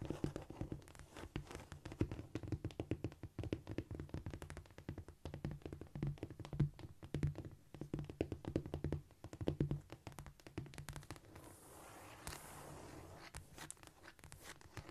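Long painted nail tips tap quickly over a flat, solid cork floor, making a dense run of soft, low, dull clicks that die away almost at once. The tapping carries on through most of the clip, giving way near the end to a brief stretch of faint scratching hiss before the taps return.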